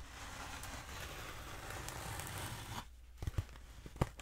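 Long acrylic nails scratch the textured surface of a long, black, hollow foam pool noodle held diagonally, making a steady, rough, crinkly scraping for nearly three seconds. It then drops quieter, with a few sharp, dry taps and crackles standing out.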